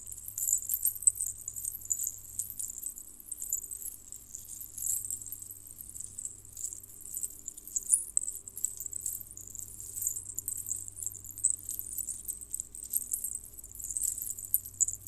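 A multi-strand necklace of many small hollow colored metal jingle bells on red cord, with a few clear beads, is held bunched in both hands while fingertips and long painted nails squeeze, rub and jiggle the bells. The result is a steady, quiet, bright jangling with dense, quick-decaying tinkles and occasional sharper jingles, over a faint low hum.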